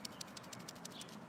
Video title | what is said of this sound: Outdoor Scavenger Hunt with Mother Earth | it makes the really fun sound when you shake it